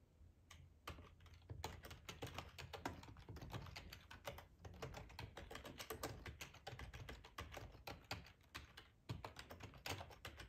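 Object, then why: Plastic ergonomic computer keyboard. Fingertips type steadily on the keys of a black plastic, hollow-bodied split ergonomic computer keyboard for about ten seconds. The result is a quiet, dense stream of quick, short tapping clicks, each with a bright edge over a low, hollow thud.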